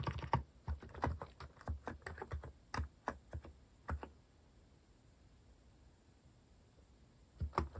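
Fingertips type rapidly on a compact white-case Hanmumu mechanical keyboard with cream and orange cat-themed plastic keycaps, resting on a wooden desk. The keys give short, dry, low-pitched clacks in a quick, uneven run. The typing stops for about three seconds of near silence, then resumes with a few more taps at the end.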